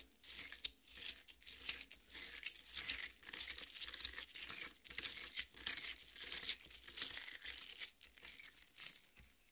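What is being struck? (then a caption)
Cut watermelon half. Long painted nails and the fingertips of both hands scratch and dig into the already-mashed red flesh of a large, solid cut watermelon half resting on a metal plate. A steady run of bright, wet tearing and crunching bursts rises and falls in loudness, with brief quieter gaps between digs.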